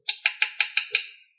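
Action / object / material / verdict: knock / motorcycle chassis steel frame tube / steel / solid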